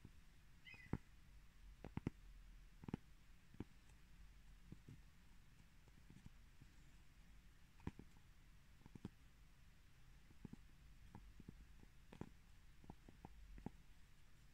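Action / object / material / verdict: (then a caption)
tap / pressed cork coaster / cork / none. Fingers tap and scratch the surface and raised rim of a round, palm-sized coaster of solid pressed cork, held up close in the hand. About 16 short, dry, muffled taps stand out from a quiet, low-heavy scratching hush, each dying away almost instantly with a faint bright click on top.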